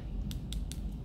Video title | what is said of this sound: AT HOME KISS ACRYLIC NAIL KIT - DIY FOR BEGINNERS | if you tap them and you can hear that tapping then they're pretty much ready to be filed